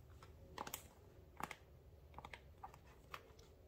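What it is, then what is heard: Paperboard box tapped with nails. Long nails tap and scratch the faces of a small, hollow, dark blue printed paperboard product box held in the hands. Sharp, dry clicks come in irregular pairs and clusters, each with a hollow midrange knock and a bright edge. The clicks die away almost instantly over a low, steady background hum.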